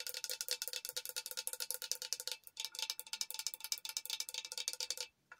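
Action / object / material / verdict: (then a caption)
tap / glass tumbler / glass / none. Long acrylic nails tap quickly on a tall glass Hello Kitty tumbler with a pink drip top, lid and straw, which appears hollow. The result is a fast run of bright, clicky ticks with a faint glassy ring beneath them. The tapping pauses briefly midway, then resumes and stops abruptly near the end.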